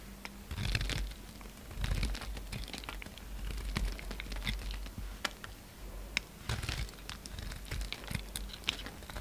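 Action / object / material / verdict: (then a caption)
scrape / bar of soap / soap / none. A utility knife blade shaves chips off a solid yellow soap bar, narrowed by carving and held in the fingers. Dry, crisp scraping and crinkling cuts come in uneven bursts with sharp, bright ticks over a steady low hum.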